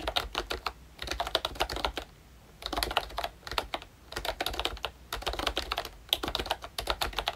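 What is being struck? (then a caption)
Plastic membrane keyboard. Fingertips type on a ROYCHE Disney Mickey Mouse retro plastic membrane keyboard with round dark green keycaps, a cream frame and a Mickey badge. Rapid, bright, dry plastic clicks with almost no ring come in about six bursts of typing separated by brief quiet pauses.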